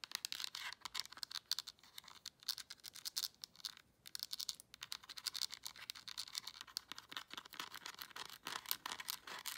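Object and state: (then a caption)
Plastic remote control. Long nails scratch and tap on a black plastic LED remote control, first across the back panel and then over the buttons. The sound is a rapid stream of dry, brittle clicks and scrapes. It is bright and crisp, with almost no low end and no ringing after each hit.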